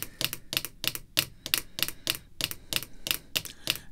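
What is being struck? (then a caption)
Acrylic plastic card holder. Red artificial nail tips tap a small, clear, rigid acrylic card holder with a baseball card back, resting on black cloth. About 19 quick, bright, clicky taps come in an uneven rhythm, each sharp and high-pitched with almost no ring.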